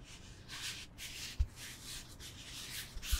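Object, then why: Foam yoga block. Fingertips and nails scratch and rub a solid rectangular foam yoga block, likely EVA, held in both hands. Soft, bright, raspy scratching strokes come in repeated bursts, with three brief low thuds standing out against the quiet rustle.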